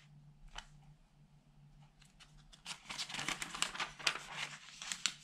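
Fingertips wearing rings rub and turn the pages of an open tabloid newspaper of thin newsprint lying flat on a dark table. Faint, sparse rustles give way after about two and a half seconds to louder, denser, bright crinkling and crackling bursts, over a soft steady low hum.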